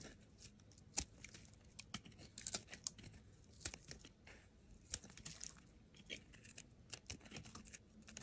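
A steel utility knife blade shaves thin curling slices off a solid pale yellow soap bar held in the hand. The sound is a quiet, bright run of crisp, dry scraping and tearing strokes, each with a short sharp onset that dies away almost immediately. Faint low hum sits underneath.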